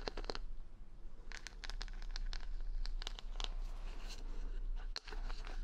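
Long nails scratch and tap the plastic rhinestone stickers covering the back of a solid wooden paddle hair brush held close to the mic. Quick bright clicks and crinkly scratches come in bursts over a steady low hum.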